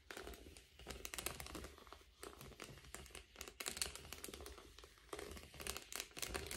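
A blue metallic foil bubble padded envelope lies flat on a table and is then picked up while fingertips tap and scratch its surface. The result is a dense stream of bright, crinkly crackles and soft taps, with quick, uneven bursts and a low, quiet hum underneath.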